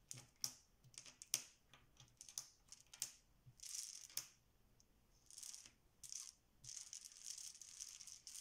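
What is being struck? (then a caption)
Small plastic game tiles on a stone counter. Many small solid plastic Bananagrams tiles lying face down on a stone counter are shuffled and spread with both hands and fingertips. Quick, bright rattling clacks come in bursts, with sharp single clicks early on and longer sliding, hissy rattles later. The sound is mostly high and crisp, with almost no low end and very short decay.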